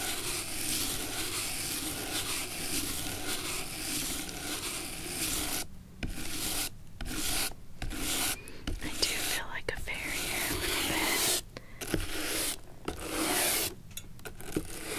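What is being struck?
Leather shoe sole.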